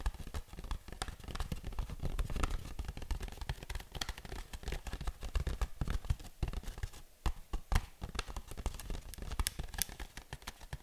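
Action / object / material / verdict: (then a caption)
tap / small cardboard box / cardboard / none. Long nails tap and scratch on a small, hollow printed cardboard box held up close, giving a dense, fast run of dull, low thumps with bright clicky edges. Each tap dies away almost instantly, and faint scratchy friction fills the gaps between the taps.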